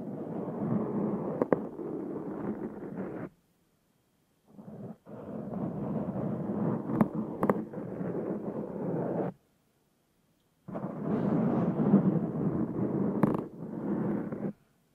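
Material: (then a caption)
Foam. A black foam windscreen on a Zoom H6 recorder is scratched slowly with the fingertips and nails of one hand. Dense, muffled scratching rumbles in bursts of several seconds with silent pauses between, and a few sharp clicks spike through.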